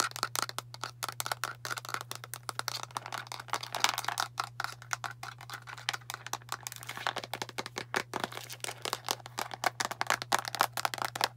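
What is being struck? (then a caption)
Plastic deodorant stick container. Long nails tap rapidly on the cap and body of a hand-sized blue plastic deodorant stick container, making a dense run of sharp, bright clicks with almost no ring. A faint steady low hum sits underneath throughout.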